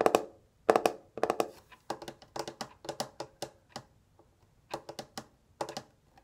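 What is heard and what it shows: A small pink metal twin-bell alarm clock is held in the hands while fingertips and nails tap on its face and hollow case. The result is a series of short, dry, pitched clicks and knocks in irregular clusters, with bright tops and almost no ringing after each tap.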